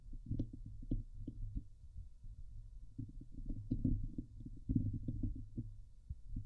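Long polished nails of both hands scratch the hollow domed steel wire-mesh grille of a Blue Yeti microphone. The sound is a dense run of muffled, thumpy scrapes and rubs, mostly deep low-end rumble around 100 Hz, with quick irregular bursts and faint bright ticks. Louder flurries come near the middle and end.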